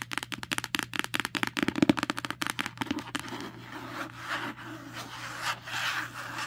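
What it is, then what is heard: Paperback book cover scratched. Long nails and fingertips scratch and rub across the matte card cover of a paperback book lying flat. Around twenty quick, crisp scratching strokes come first, then the sound eases into a softer, continuous rubbing over the cover.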